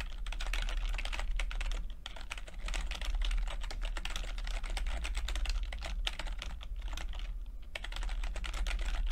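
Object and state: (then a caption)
Plastic computer keyboard being typed on. Fingertips of both hands rapidly tap the flat, mostly hollow keycaps over switches on a low-profile plastic computer keyboard with red and purple backlit chiclet keys. The result is a dense, steady stream of quick, bright clicks and clacks with very short decay, over a constant low hum.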